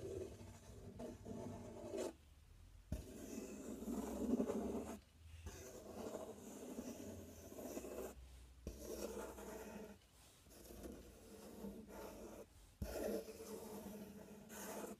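Fingertips and nails scratch and tap the front panel and edge of a large, empty, open corrugated cardboard box with a taped inner flap. Dry, rasping scratching comes in bursts with a hollow low-mid body and occasional soft taps. Brief quiet pauses separate the passages.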